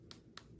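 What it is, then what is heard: Poorly made red ginseng, dull sound. A dried red ginseng root that did not turn out properly is tapped three times, giving short, dull taps with no ring instead of the clear sound of well-made ginseng. The root is too large, so it will be steamed once more.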